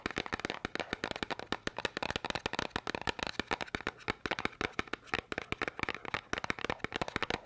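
A small, hollow yellow and red cardboard candy box is tapped and scratched quickly with long nails. About forty sharp, dry taps come in a rapid, uneven run, each dying away almost instantly, with soft scratchy rustling between them. The sound is bright and papery, with little low end.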